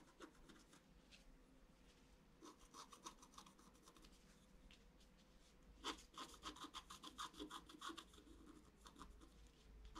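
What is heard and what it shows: A thin wooden or bamboo stylus scratches lines into the black wax coating of a flat A4 sheet of scratch-art paper lying on a table, while the other hand holds the sheet down. Quiet, dry, raspy strokes come in quick, uneven bursts with a bright, scratchy edge over a faint low hum. The scratching grows denser and louder in the second half.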